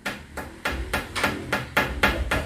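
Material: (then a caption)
Tempered glass. Nine light taps on the 8 mm tempered glass top of a Rinnai built-in stove that has been in use for 1.5 years, done to compare its sound with the zinc layer underneath. Each tap is a short, hard knock with a low thud and a brief mid-pitched ring that fades quickly.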